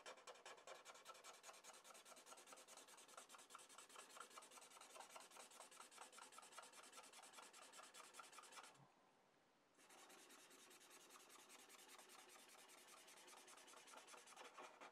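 A blue felt-tip marker rubs in rapid, repeated coloring strokes over one area of a flat sheet of drawing paper on a desk. The result is a steady, bright, scratchy rasp with a quick back-and-forth rhythm. It stops for about a second near the nine-second mark, then resumes at the same pace.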